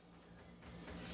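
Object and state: Nothing is struck.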